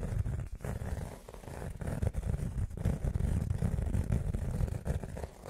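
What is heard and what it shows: Fingernails scratch a small, round, flat blue rubber foam pad that is solid and soft and held in both hands. The result is a dense, irregular run of quick, muffled rubbing scratches, mostly low and dull with almost no bright edge.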